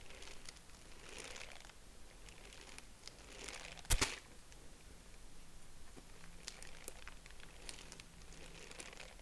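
A purple tissue-paper honeycomb is stretched and squeezed between both hands, giving soft, bright crinkling and rustling in repeated waves. Near the middle, two sharp crackling snaps stand out louder than the rest, over a faint steady low hum.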